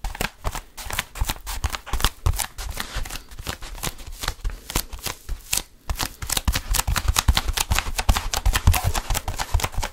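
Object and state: Foam roller.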